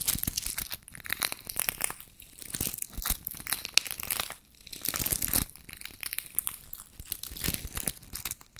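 A small, soft pouch covered in pink-purple plastic sequins is scratched and rubbed with fingertips and nails. It makes dense, bright, crinkly scratching in uneven bursts, with brief quieter gaps around 2 and 4.5 seconds.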